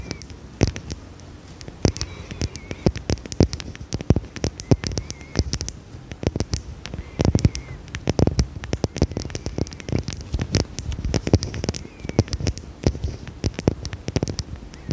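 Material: Glass.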